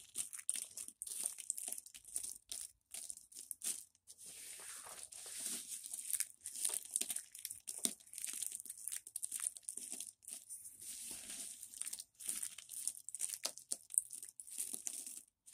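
Bare fingertips and palms grab handfuls from a pile of dry, brittle white and green soap chips and thin solid flakes on a white surface, crushing and crumbling them. The result is fast, dry, bright crunching and crinkling in rapid bursts with brief pauses between handfuls, almost all high in tone with no low-end weight.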